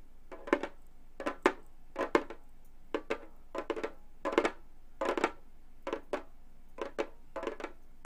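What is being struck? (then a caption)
Frame drum with synthetic head, tapped with metal fingertip claws. Gold metal claw tips tap on the synthetic head of a hollow frame drum, in quick clusters of two or three taps spread steadily through the clip. Each tap is a short, dry knock with a warm midrange body and a faint bright click, dying out almost instantly over a quiet background.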